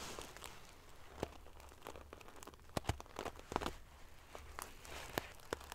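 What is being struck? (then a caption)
Padded pillow covered in metal sequins. Long nails scratch and ruffle the rows of silver metal pieces covering a large padded metal-sequin fabric pillow. The result is a quiet, continuous crinkly rustle broken by sharp, bright clicks and scrapes, with a low hum underneath.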